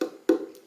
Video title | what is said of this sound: Ep 5 Eastman 814 vs 815 Mandolin | just tapping on it acoustically you can hear it's a a lot different experience